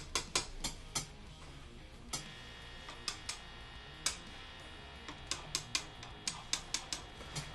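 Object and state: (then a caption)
Guitar pickup working, passes signal when tapped. A guitar pickup is tapped eighteen times while plugged into an amp with the volume turned up, as a check that it produces a signal. Each tap comes through the amp as a sharp, bright click over a steady low hum and hiss. The pickup responds, showing it is working.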